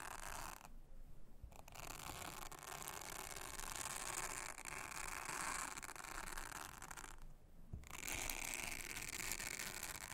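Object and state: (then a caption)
Silicone honeycomb trivet mat. A soft plastic toothbrush brushes and scratches across a thin, round blue silicone honeycomb trivet mat lying solid and flat on a table, while the other hand, with long red nails, rests on the mat. The result is a steady, dense, bristly rasping with a bright hiss and a fast ratchet-like texture. It stops briefly twice before resuming.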